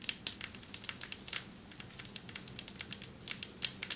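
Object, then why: Marble table top. Long metallic nails tap on a marble table top in a quick, uneven run of 26 sharp, crisp taps. Each click is bright and dies away almost at once, over a faint steady low background.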